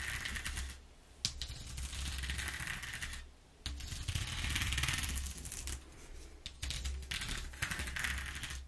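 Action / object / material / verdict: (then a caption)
scrape / corrugated cardboard sheet / cardboard / none. Long nails tap and scratch across a flat brown corrugated cardboard sheet with exposed flutes. The sound is a steady run of quick, dry taps and rasping scratches over the ridges, with bright, papery texture above a low rumble. It pauses briefly twice before resuming.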